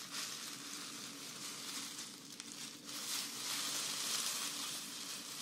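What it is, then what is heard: Grass skirt strands rustled. A bundle of green grass-skirt strands (dried grass or raffia) is gripped in both hands while long nails scratch and squeeze them. This makes a steady, bright, crackling rustle with almost no low end, like a sizzle. It eases briefly just before the three-second mark, then swells louder to the end.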